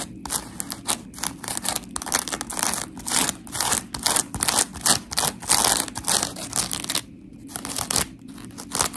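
Long pink nails scratch the gritty surface of a dry blue-and-white smiley-face scrub sponge made of coarse, porous polymer foam. Rapid bursts of bright, raspy scratching come in quick uneven strokes, with a brief quiet pause near the end before the scraping resumes.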